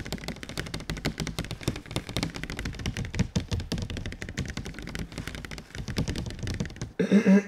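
Fingertips tap rapidly on a large, glossy, printed cardboard console box held up close, producing a dense stream of soft, hollow, low thuds with short, dry decay. Near the end the tapping stops and a brief, louder sound with a steady tone closes the clip.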